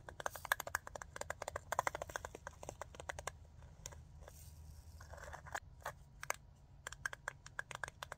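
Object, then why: Small glass jar with metal lid. A fingernail taps quickly on the metal lid and the glass sides of a small jar full of glitter, making bright, sharp clicks in fast, uneven bursts. The tapping slows and thins out in the middle, where a soft hiss takes over, then picks back up toward the end over a faint low hum.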